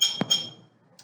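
An empty glass jar is tapped with a metal spoon, giving bright, glassy clinks with a high ringing tone around 3.2 kHz that fade within a fraction of a second. A duller, thud-like knock falls between the ringing taps, and a faint, light tap follows near the end.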